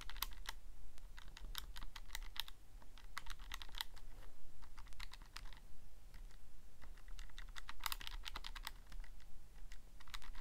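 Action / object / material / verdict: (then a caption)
tap / plastic calculator keys / plastic / none. A thumb presses the plastic keys of a Casio calculator, producing a rapid, irregular series of short, bright clicks. The clicks come in quick bursts with brief pauses, over a steady low hum.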